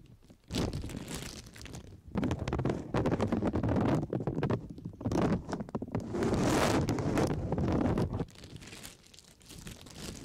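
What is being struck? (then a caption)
Thin plastic shower cap. A light blue, thin, flexible plastic disposable shower cap with an elastic rim is held open and stretched in both hands while the fingertips rub and crinkle the thin sheet close to the microphone. Dense crackling and crinkling comes in long, loud stretches with a rumbly, muffled low end, separated by brief quieter pauses.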